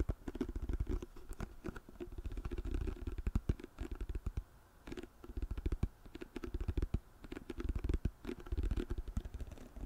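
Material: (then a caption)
Plastic. A white plastic lotion pump bottle, held upright, is tapped rapidly with long nails on its back label. The result is a dense stream of soft, dull, low-pitched clicks and thuds that come in bursts with brief lulls, each tap dying away almost instantly.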